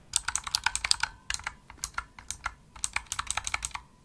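Fingertips with medium nails press the hollow-shelled keys of a pink full-size plastic mechanical gaming keyboard (Razer Huntsman) with RGB backlight in fast, dense clicky typing. About two dozen bright, sharp clicks come in quick bursts with brief pauses between them, each dying away almost instantly with little low-end weight.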